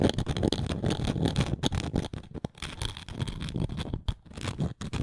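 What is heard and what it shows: Long nails scrape and scratch across the engraved surface of a round, flat wooden coaster. The result is a dense run of rough, dry scratching strokes, heavy in low rumble with a faint bright hiss. Brief quiet gaps fall around 2.5 and 4.1 seconds.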